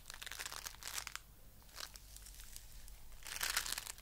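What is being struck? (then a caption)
Foam bead clay lump. A fist-sized lump of coral-pink foam bead clay is squeezed between both hands and fingertips. It gives bright, crisp crunching and crackling in bursts: a busy stretch at the start, a shorter one in the middle and a louder flurry near the end. A faint low hum runs underneath.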